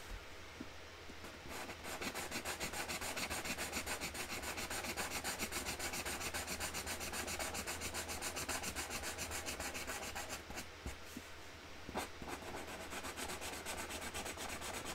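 A pink Sharpie marker tip is rubbed back and forth across the large, flat white cardboard lid of a baby box printed with a tree design, lying on a table, to colour in a flower. The strokes make a fast, fairly steady scratchy rasp with bright hiss over a faint low hum, with brief pauses near the end.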